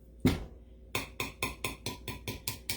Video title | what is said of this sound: Dry Canning using a unique tool | It sounds dull. It's got a different sound. That's how you know it's not sealed.